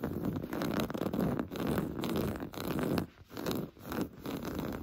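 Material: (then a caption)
Woven fabric. Short blue-painted nails scratch quickly over a large, soft, stuffed beige woven-fabric sofa cushion. The result is a steady, rough, zipper-like rasping, mostly low and dull with little brightness, broken by a few brief pauses between strokes.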